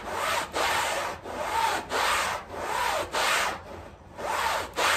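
A long-handled stiff bristle broom scrubs a small, soapy, wet fabric rug, heavily dirty and muddy, lying on tile. It makes a steady run of rhythmic, rasping swish strokes, each a broad bright hiss with a faint rising-and-falling tonal sweep, separated by brief dips between strokes.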